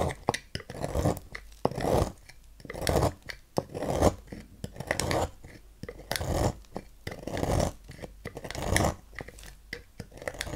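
A thin metal knife scrapes and carves flakes from the edge of a palm-sized, solid green bar soap with a swirl emblem, held in hand. Soft, dry rasping strokes repeat at an uneven pace, each a short burst of scraping with crisp little clicks as flakes break away.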